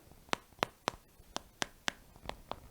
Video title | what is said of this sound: Don't buy store bought bread again. Basic White Sandwich Bread | you can also thump it and it sounds almost hollow